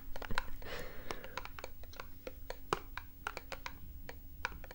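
A small printed cardboard box is tapped and scratched with long nails. Quick, light, dry taps come in a rapid irregular series, with a brief breathy scratch near the start, over a faint steady low hum. Each tap dies away almost instantly.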